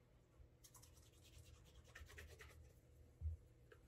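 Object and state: Leather dress shoe being buffed.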